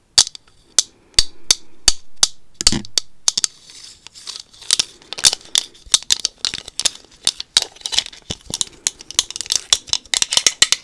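Long acrylic nails tap and scratch a black plastic Magic 8 Ball held close to the microphone. Sharp, bright clicks come in quick, uneven bursts, separated by soft scraping that grows busier toward the end.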